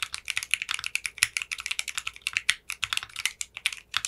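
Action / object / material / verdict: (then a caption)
tap / mechanical keyboard with polycarbonate keycaps / polycarbonate / none. Fingertips with short manicured nails type steadily on a 60% mechanical keyboard with clear pink polycarbonate keycaps. The rapid keystrokes make bright, crisp clacks with almost no low end, and each one dies away almost instantly.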